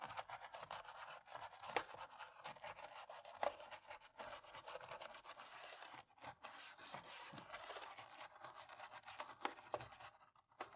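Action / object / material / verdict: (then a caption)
scrape / plastic laptop keyboard keys scrubbed with a cotton swab / plastic / none. A cotton-tipped stick scrubs and scratches between the black plastic keys of a dirty laptop keyboard. The result is a quiet, steady, bright scratching and rubbing with quick ticks and almost no low end, briefly pausing around the middle before continuing.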